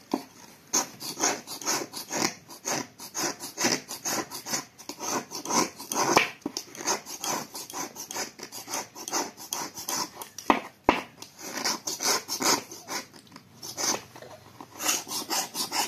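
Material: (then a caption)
Dried clay. A small, solid grey-white dried clay block is held in the hand over a plate and scraped with a small metal knife, so powder falls onto the plate. Quick, repeated dry rasping strokes fill the clip, each one short and bright with almost no low end.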